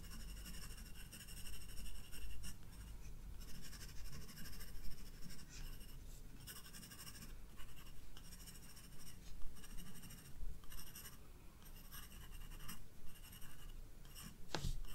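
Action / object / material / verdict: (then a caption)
scrape / pencil on sketchbook paper / paper / none. A graphite pencil draws steady strokes on the white paper page of a spiral-bound sketchbook, producing quiet, continuous scratchy rasps with bright hiss in each stroke. A low, steady rumble sits underneath throughout, and a short, sharper scrape stands out near the end.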